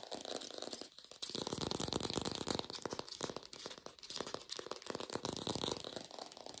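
An artificial green apple with a stem, probably plastic, is fast-tapped with long pink nails. A dense run of quick, crisp, hollow clicks with a bright top comes in uneven bursts, each tap dying away almost at once.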